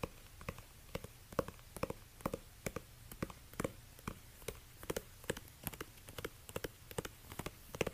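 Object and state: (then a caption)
Suede ankle boot tapped and scratched. Fingertips in orange rubber dish gloves tap and scratch the suede upper of a single black suede high-heel ankle bootie with a stiletto heel, hollow and empty, standing on a white fur rug. A quiet, steady series of short, dull taps with a midrange tone around 530 Hz dies away almost instantly, with soft scratching rustle between them.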